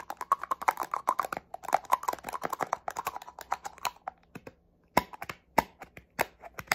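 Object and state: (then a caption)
Plastic spray bottle, fingernail tapping. Fingernails tap fast on the body and cap of a small black plastic cosmetic spray bottle. The taps are short, dry and clicky with a hollow tone around 900 Hz, coming in dense bursts that thin out toward the end with brief pauses.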